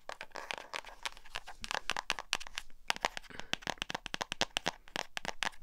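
Long acrylic nails rapidly tap and scratch the cover of a small black hardcover spiral notebook with an elastic band, held close to the mic. A dense run of crisp, dry clicks rises bright and cuts off instantly, with no ring. Softer scratchy rustling fills the gaps between taps.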